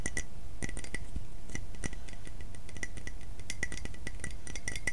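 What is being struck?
Ceramic mug.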